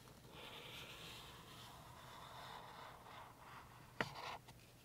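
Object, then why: Felt-tip marker on a paper page. A pink felt-tip highlighter is rubbed slowly along table rows on the glossy printed page of an open paperback game guide lying flat on a table, while the other hand holds the page down. It makes a soft, continuous scratchy marker-on-paper stroke for about four seconds. The stroke ends with one brief sharp tap.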